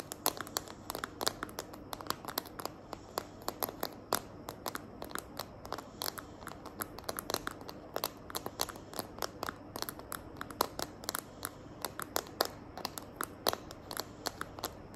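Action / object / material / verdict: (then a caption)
tap / plastic phone case tapped with fingernails / plastic / none. Long nails tap and scratch the back of a small, hand-held smartphone in a green glitter plastic case. Quick, dry clicks repeat rapidly over a faint crinkly scratching. Each tap is bright and dies away almost instantly, with little low end.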